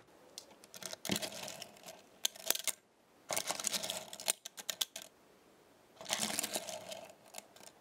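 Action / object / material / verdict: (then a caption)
scrape / small thin metal star pieces on a magnetic base / metal / none. Small, thin metal star pieces stacked on a black star-shaped magnetic base are lifted and shifted with fingertips and long nails, so they clink together. Bright, tinkling metallic clicks and rattles come in three busy bursts, separated by scattered single taps and quiet gaps. Each contact is short and dry, with almost no ring and little low end.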